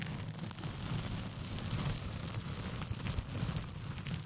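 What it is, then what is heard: Paper sheet being scratched. A thin white paper sheet with pink polka dots, curled into a hollow, empty tube around a foam-covered microphone, is scratched with long painted fingernails. The scratching is continuous, with a deep, boomy rumble under a dry, papery rasp and brief brighter flecks. The level stays steady throughout.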